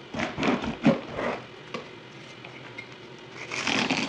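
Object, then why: Bar of soap cut with a knife blade. A yellow utility knife blade carves a solid white bar of soap held in one hand, shaving dry flakes off over a table, sped up to double speed. Rapid, dry, crunchy scraping bursts come in quick succession, then fade to a quiet stretch before the scraping starts again at the end.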